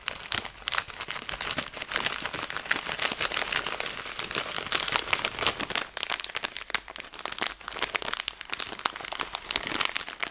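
A plastic-film Skittles candy bag is folded and crumpled between fingers, making a dense, continuous crinkle for about ten seconds. The sound is bright and crackly, with almost no low end, and is made of many rapid, sharp crackles that stop instantly with no ring. A brief dip near six seconds breaks the otherwise steady rustling.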